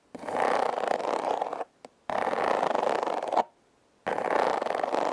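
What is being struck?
Corrugated cardboard heart-shaped box.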